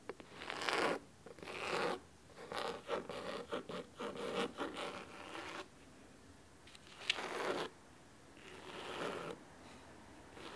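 Fingernails of one hand scratch the cloth cover of a large, solid blue cloth-bound hardcover book lying flat on a wooden table. Crisp, dry, raspy scratching comes in short bursts of varying length, some quick and choppy, others longer strokes, bright and hissy with little low end. Quiet pauses separate the bursts.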